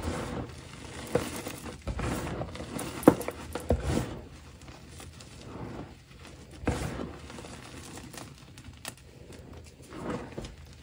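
Both hands scoop, squeeze and crumble handfuls from a large pile of loose, crumbly, light blue dyed homemade gym chalk powder on a dark surface. Soft, muffled crunching and crinkling comes in bursts, busiest in the first four seconds, with quieter swells later and a few sharp little crackles.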